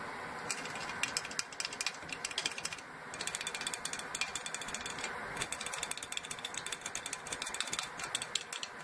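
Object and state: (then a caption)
Aluminum soda cans tapped and scratched. Fingernails tap and scratch the tops and pull tabs of full aluminum Coca-Cola cans sitting in an open cardboard box. Rapid, bright metallic clicks and ticks come in dense bursts over a soft scratchy hiss, with short lulls just before the three-second mark and again a little after five seconds. Each click dies away almost instantly with little low end.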